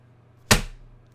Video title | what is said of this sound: Ross Hamilton Fake Money ??? ( Connected Investors Scam ) | you're gonna notice that it sounds like plastic